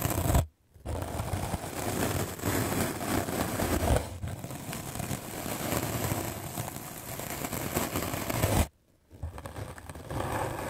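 A white rectangular magic eraser block of solid melamine foam, held in the hand, is scrubbed aggressively with a medium black-bristle paint brush. The result is a steady, dense, scratchy brushing rasp with a low rumble, broken by two brief silent pauses near the start and near the end.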